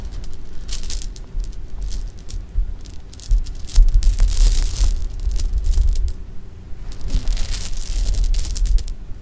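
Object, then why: Handful of sugar-shelled jelly beans. A handful of small, solid, sugar-shelled jelly beans is held in cupped hands, dropped onto pink fabric, then shaken and rubbed with fingertips. Bright, dense rattling clicks and soft scraping come in irregular bursts over a steady low hum.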